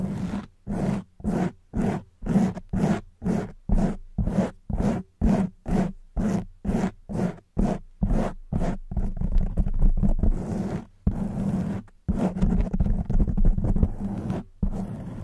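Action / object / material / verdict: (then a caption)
scrape / foam microphone windscreen / foam / none. Long white nails scratch a black foam windscreen on a silver microphone, making a steady run of separate, rough, bassy scraping strokes roughly twice per second. After about nine seconds the scratching turns continuous and dense, with a brief pause, then carries on as a muffled, rumbling rustle.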